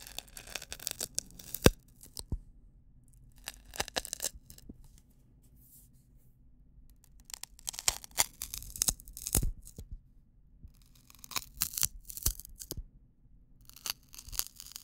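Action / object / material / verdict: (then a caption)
scrape / wheat straw drinking straw / wheat straw / none. A single long, thin, hollow wheat-straw drinking straw is held upright close to the mic while fingertips and nails scratch and rub along it. Clusters of dry, crackly, bright rasping and scraping come in bursts, separated by quiet pauses over a faint low hum.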